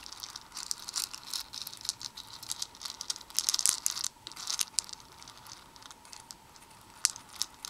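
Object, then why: Small plastic beads in a plastic bowl. A black plastic tweezer pokes and stirs many small hollow plastic Perler beads (white, red and black) in a red plastic bowl, rattling them against each other and the bowl. The sound is a bright, high, dry crinkly rattle of quick clicks with almost no low end, busiest in the middle of the clip, then thinning to sparser ticks with a sharp click near the end.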